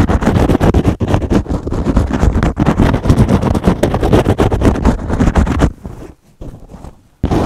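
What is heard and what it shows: A foam kitchen sponge with a green scrub pad is held in one hand and scratched fast with fingernails across the foam and the scrubber. The result is a dense, rapid, rough scraping that runs steadily for almost six seconds. It then drops to near silence and starts again abruptly at the very end.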